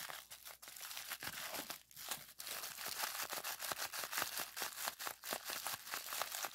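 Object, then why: Plastic bubble wrap. Clear plastic bubble wrap with hollow bubbles, rolled into a small tube, is squeezed and twisted by hand to pop the bubbles. Rapid, irregular sharp pops and crackles mix with crinkling plastic, bright and crisp with almost no low end, each snap dying away almost instantly.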